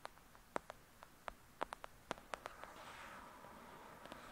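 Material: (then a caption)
Paper. Long nails tap about a dozen times on a thick "Lady Midnight" paperback with a paper cover, giving short, dry clicks with a midrange knock. Then they scratch along the cover and edges in a steady, soft, bright rasp, with a couple more light taps near the end.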